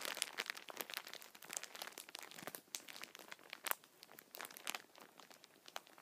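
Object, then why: Chocolate pack in a clear plastic wrapper. Fingers squeeze and crinkle the clear, crinkly plastic wrapper of a full, hand-sized Kinder multipack of solid chocolate bars held in both hands. A quiet, dense stream of sharp crackles and crinkles fills the clip, mostly bright and high with almost no low end. Each crackle stops instantly, with no ring.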